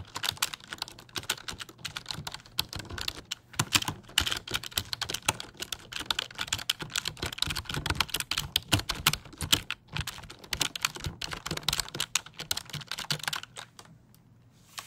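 A black, hollow-bodied, full-size plastic computer keyboard, held upright near the microphone, is typed and tapped on its keys with fingertips. It produces a rapid, uneven stream of short, bright plastic clicks and clacks over a faint low hum, with brief pauses between bursts. The typing trails off into near silence at the end.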